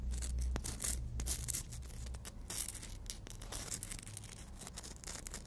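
Fingernails are filed back and forth along the abrasive edge of a long, thin, solid black emery board nail file. The result is a quick, uneven run of dry, scratchy rasping strokes with bright hissy bursts over a steady low rumble.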